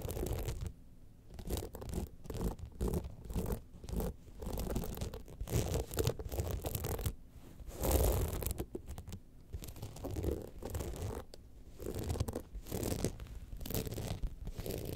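Long nails scratch across the crystal-studded panels of a gold rhinestone evening clutch bag held in both hands. The result is repeated bursts of dry, rasping scratches with a gritty, mostly low-heavy texture and short pauses between strokes.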